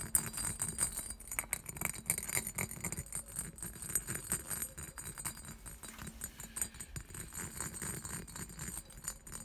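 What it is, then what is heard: Cut glass decanter. Fingertips and nails rapidly tap and scratch the diamond-patterned body of a clear, hollow, empty cut-glass decanter. A dense stream of quick, dry clicks and scrapes runs throughout, with bright, high glassy ringing over a low steady hum.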